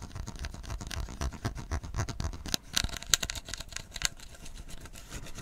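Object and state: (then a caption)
Plastic PET bottle being scratched. Fingertips and nails scratch and rub the ridged upper side of a clear plastic PET bottle full of tea, held close. It makes a quiet, continuous dry scratching with a soft low rumble underneath, broken by a few sharper, bright ticks in the middle. Each sound stops instantly with no ring.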